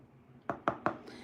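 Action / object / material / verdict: tap / pressed bubble bar (bath product) / pressed powder / hard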